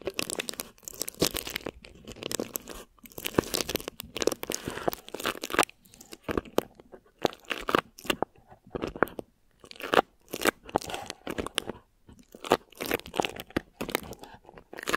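Long nails and fingertips of both hands scratch and crinkle clear plastic film stretched over a hollow, round mesh microphone head. The result is dense, crackly crinkling in rapid, uneven bursts with short pauses, bright and broadband, with almost no low rumble and no ringing after each scratch.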